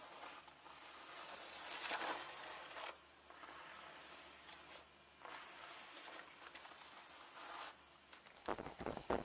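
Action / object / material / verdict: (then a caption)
scrape / leather handbag / leather / none. A turquoise leather handbag lies flat on a table with its zip pockets facing up while long nails scratch and rub the leather and fiddle with the zipper pulls. Long, bright, airy scratching and rubbing passes come in bursts separated by brief quiet gaps. The clip ends with sharper, choppy scrapes and clicks.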